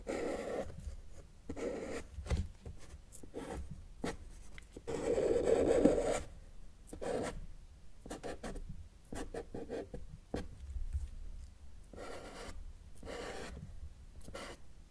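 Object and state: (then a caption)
Marker drawing on paper. A felt-tip marker draws mountain outline strokes on a sheet of flat, thin, solid white drawing paper, its tip rubbing across the surface. A steady series of short, dry scratchy strokes is heard at an irregular pace, with one longer, louder squeaky stroke near the middle. The strokes are soft and mid-toned with little bright content.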